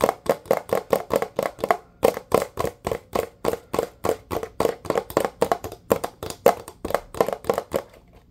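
A blue plastic Dawn dish soap bottle with a flip cap, held sideways, is tapped quickly with fingertips and nails. The result is a rapid, steady series of short, dry, hollow taps with a mid-pitched plastic tone and almost no ring, with a brief pause near the two-second mark.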